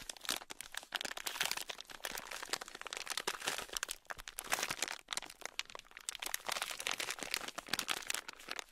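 A small, sealed, clear plastic bag packed full of tiny gold beads is squeezed with fingers and scratched with a thin black stick. The result is a dense, bright crinkling and crunching with rapid clicks and rustles, broken by brief pauses, and almost no low end.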